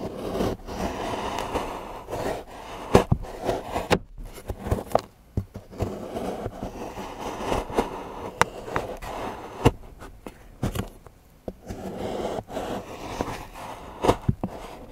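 A large steel knife shaves and scrapes the edge of a solid milk chocolate bar into curls on a patterned board while fingertips hold the bar steady. Soft, dry scraping strokes rise and fade in a muted low-mid tone, broken by short sharp ticks as the blade catches and knocks the board.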